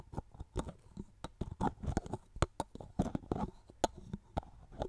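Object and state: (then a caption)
Plastic cosmetic bottle. Fingertips and long nails tap and rub along the body of a hollow, medium-sized orange plastic styling cream bottle with an orange cap. The result is an irregular run of short, dry, hollow taps with soft rubbing between them, weighted toward the low and mid range with little brightness. Each tap stops instantly, with no ring.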